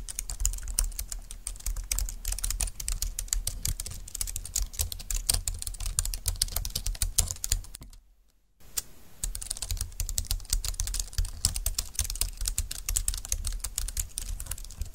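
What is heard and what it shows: Long-nailed fingertips type rapidly with both hands on a compact, dark green, low-profile plastic keyboard with flat keys and a hollow plastic body. The result is a dense stream of short, bright clicks over a low, hollow thud. There is a brief silent pause just after the midpoint before the typing resumes.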